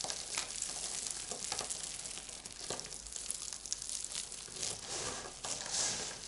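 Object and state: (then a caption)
Pile of dry soap shavings. Hands with long lilac nails crush, scoop up, then press and rub flat a heap of dry crumbled soap shavings (flakes and small chunks) on a white surface. The result is a steady, bright, crisp crunching and crinkling with almost no low end, rising and dipping in quick gritty bursts without pause.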